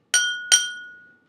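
A drinking glass is struck twice with a spoon, giving two bright, tinny clinks with a high ring that fades out over about a second. The tone is thin and metallic, with no low body to it, in contrast to the sustained hum made by rubbing a vinegar-dipped finger around the rim.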